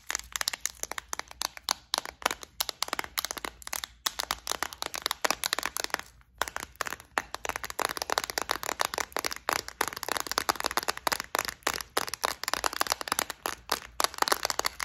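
Long acrylic nails tap, scratch and shake a clear plastic, flower-shaped, multi-compartment bead organizer filled with gold beads. The result is a dense stream of quick, crisp, bright clicks and rattles with almost no low end, pausing briefly about six seconds in before continuing.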